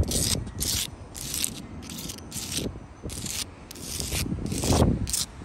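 Long light-blue acrylic nails scratch and rub across solid, rough sandstone wall blocks and their mortar seams. Repeated bursts of bright, gritty scraping alternate with a low, dull rubbing texture. The gritty surface gives each stroke a rasping, sandpaper-like sound.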